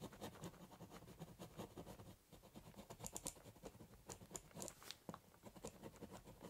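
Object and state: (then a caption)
Ballpoint pen scratching on a cardboard box. A ballpoint pen doodles on the top of a large corrugated cardboard box, scribbling and cross-hatching with quick scratching strokes. The result is a soft, rapid, papery scratching with brief bright ticks at the end of strokes and a low rustle beneath, fading out with no lingering ring.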